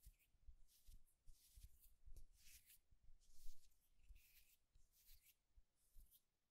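A solid, smooth wooden egg is held upright and tapped and scratched with the fingertips and short nails. Soft, dull low taps mix with bursts of bright, dry scratching that rise and fade in quick strokes. The overall sound stays quiet and close, with almost no ring after each touch.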